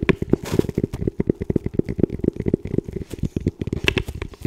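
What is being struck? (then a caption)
Composite tactical helmet shell. Fingertips tap and scratch the shell of a hollow, dark camo composite tactical helmet with a small green strobe attached, held in both hands. A quick, uneven run of dull, hollow knocks, each with a low, woody tone, dies away almost instantly, with faint scratchy crackling between the taps.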